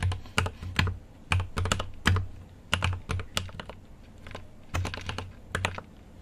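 Fingertips type on a mechanical keyboard with an aluminium case and plastic keycaps. An uneven run of sharp, bright key clacks lands in quick clusters with short pauses between them. A steady low hum sits underneath throughout.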